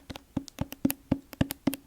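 Fingers tap up and down the spine and cover of a hardcover library book with a sticky plastic cover, making 12 quick, dull taps in an uneven rhythm. Each tap is short and woody with a low-mid thump and almost no ring, and a few lighter taps add a brighter click.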